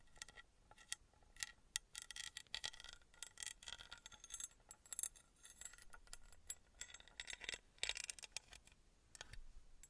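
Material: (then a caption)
Copper. Long red nails tap and scratch the sides of a small engraved copper-colored metal pyramid held close to the microphone. The result is a quiet, bright stream of quick clicking taps and scratchy rasps with a faint metallic ring that dies away almost at once.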